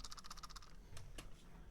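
A cheap plastic computer mouse, bundled with an equally cheap keyboard, is shaken by hand and rattles. A quick run of light, bright plastic clicks is followed by two sharper, separate clacks over a low background hum. The loose rattle marks the mouse as poor in quality.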